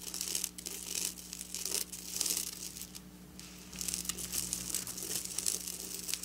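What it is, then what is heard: Sequin fabric being scratched. Long black nails scratch across flat silver sequin fabric, close up. Bright, crinkly rustling and scraping fills the high range in dense bursts, dipping quieter around the middle before picking up again, over a faint steady low hum.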